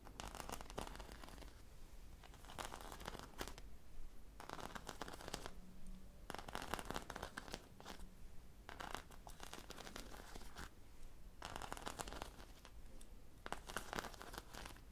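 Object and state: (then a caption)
Foam squishy toy. A hand-sized, soft foam popsicle squishy toy coated in sprinkles is scratched and tapped with long nails, then brought toward the microphone. Bursts of dry, crinkly scratching and tapping come in repeated bright-edged waves over a low, steady hum.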